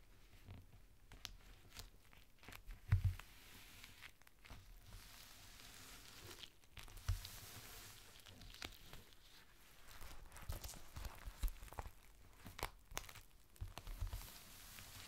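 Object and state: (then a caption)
Clear plastic rain cover. A flat, thin clear plastic rain cover is folded on a table while fingertips press and crinkle it. Quiet, uneven crinkling and rustling runs through the clip, with occasional sharper crackles and low thumps.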